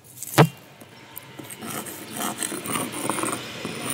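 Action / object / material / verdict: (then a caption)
scrape / small loose stone on a large rock / stone / none. A hand rubs and scrapes a small grey loose stone across the flat face of a large, solid grey-brown rock on the ground. A sharp stone-on-stone knock comes first, then a few faint ticks. From about the midpoint, a steady gritty scraping rasp with a bright edge continues to the end.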